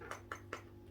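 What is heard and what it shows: Three quick taps on the plastic casing of a Tetra APS aquarium air pump give short, dull knocks centered around 1.3 kHz that die away almost at once over a low steady hum. The casing sounds solid, which indicates a quiet pump.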